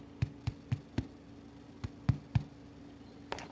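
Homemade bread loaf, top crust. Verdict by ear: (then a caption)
Hollow. Fingers knock eight times on the top crust of a freshly baked homemade bread loaf, each a short, dull, hollow thump with no ring, in two quick runs of four with a lone tap at the end. The hollow sound shows the loaf is baked through and done.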